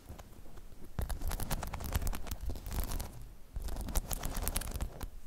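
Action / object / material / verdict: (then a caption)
scrape / spiky rubber half-dome balance pod / rubber / none. Long chrome nails scratch and tap across a hollow, spiky rubber half-dome balance pod. A dense run of low, muffled thuds and scuffs mixes with short bright clicks, dips briefly, then picks up again.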